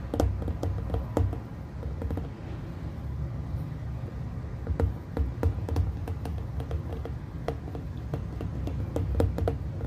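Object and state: Glass plasma ball.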